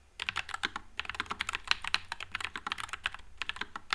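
Fingertips type continuously on a white low-profile Nuphy Air96 mechanical keyboard with Wisteria switches and plastic keycaps. A steady run of short, bright clacks follows quickly one after another, each dying away almost at once, with little low end.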